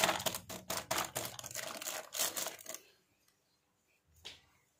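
Fingertips and palms press, rub and handle a thin clear plastic film bag with a printed header strip that holds a sealed pink and blue plastic toy kitchen set. Dense, bright crinkling and crackling runs for about three seconds before a short silence. A single softer rustle follows as the bag is held up and set down on a fabric surface.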